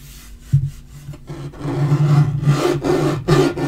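A palm and fingertips rub and sweep across the flat surface of a dark wood-grain laminate portable table top. Soft, low friction strokes swell and fade over a steady low drone, with a few firmer pushes standing out.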